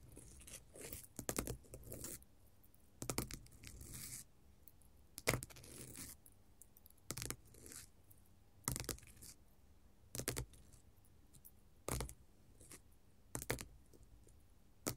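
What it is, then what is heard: Glitter faux leather sheet. A flat, solid silver-grey glitter faux leather sheet is scratched and tapped with long gold metal finger-jewelry nail caps. Short, dry bursts of bright, crinkly scratching alternate with quick taps, separated by quiet pauses, and each sound dies away almost at once.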